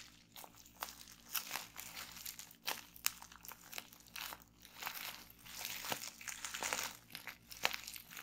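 Hands press a loose sheet of clear plastic bubble wrap lying on a table, then pinch single bubbles between the fingers to pop them. Soft, bright plastic crinkling runs throughout, broken by sharp, dry pops that stop instantly with no ring.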